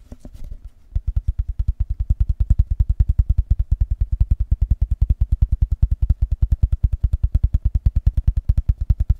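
A hollow rectangular cardboard box covered in patterned blue paper is held in both hands and tapped fast with the fingertips and nails. After a second of soft, scattered handling, a rapid, steady run of about 85 short, dull, low thumps follows with no ring between them.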